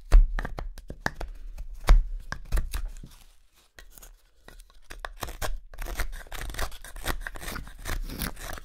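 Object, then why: Wooden spoon blank carved with a steel knife. A small steel knife carves a pale, solid wood spoon blank, with repeated cutting and scraping strokes running along the handle. Sharp, separate cuts snap out in the first three seconds, then the sound nearly drops out briefly. It picks up again as a denser, steady rasp of scraping through to the end.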